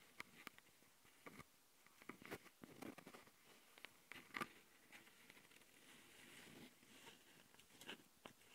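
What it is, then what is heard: Microphone grille being scratched. A long glitter nail rapidly scratches the left metal mesh grille capsule of a Tascam handheld recorder, a plastic-bodied microphone. Quiet, dry, bright scratches and taps crackle close up in irregular bursts, each dying almost instantly, over a faint hiss.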